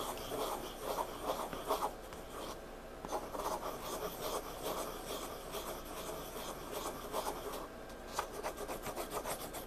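A hand drags a pencil's graphite tip across the page of a spiral-bound paper sketchbook lying flat on a table in dim light. Soft, dry scratching and rasping drawing strokes come in irregular bursts, with bright, papery texture and brief pauses between strokes.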